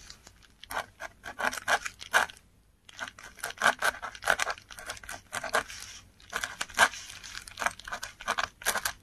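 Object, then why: Textured paper sheet scratched by a metal pen nib. A metal dip pen nib scratches strokes across a flat sheet of textured Korean paper while writing. Dense, bright, papery scratches come in quick bursts with a brief pause near the start and one around six seconds. The scratching is dry with almost no ring and very little low end.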